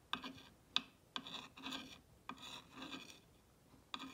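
A clear ball-tipped rod traces and scratches the lettering on a green-painted solid wooden block sign with distressed edges. Short, bright scraping strokes come in irregular bursts. Each one has a sharp onset followed by a rasping, filing-like rub.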